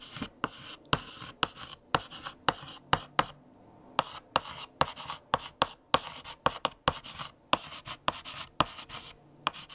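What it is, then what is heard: Chalk writing on a blackboard. A stick of yellow chalk held in the fingertips scratches across a large, flat, solid black chalkboard with a painted surface while writing text. The result is a quick series of short, bright, dry taps and scrapes as each stroke lands, with brief pauses between words.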